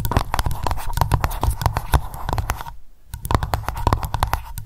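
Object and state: Wax candle in jar tapped with nails.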